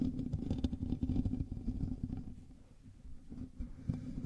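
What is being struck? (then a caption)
Metal mesh microphone grille. Both hands scratch the hollow metal mesh grille of a black USB microphone with fingertips and nails. The result is a dense, rumbling, scratchy texture concentrated in the low end, with a steady hum-like band and rapid irregular rasps. The scratching softens briefly near the middle, then picks up again.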